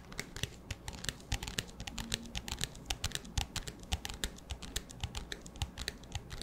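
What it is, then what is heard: Empty plastic disposable cup with lid. Fingertips and nails tap quickly on the sides and black lid of an empty, clear, hollow disposable plastic cup. About forty short, bright, clicky taps and scratches each die away almost instantly, over a faint steady low hum.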